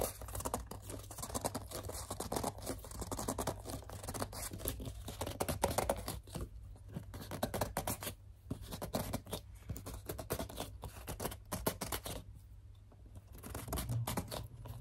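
Long dark-polished nails and fingertips grip, squeeze and scratch along the paper label and body of a hollow, hand-height, likely full dark blue plastic Maui Moisture shampoo bottle. A dense run of squeaky gripping and rapid scratchy taps plays over a steady low hum throughout.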